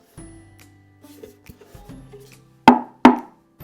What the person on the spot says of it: sonne en bois c'est du bois